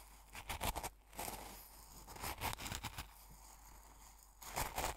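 A metal fork pokes and stirs the crystals in an open small glass jar full of coarse salt, crunching them. Bursts of crisp, bright, gritty crunching and scraping come in clusters, with quieter stretches between them over a steady low hum.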